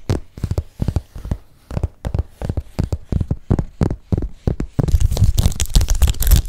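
A large metallic gold python-embossed leather handbag with gold hardware, soft and hollow, has its scaled surface tapped and scratched with fingertips and nails. Dull, low thuds come in quick, uneven bursts. Near the end the strokes merge into a steady, louder scratching with a brighter, crinkly edge.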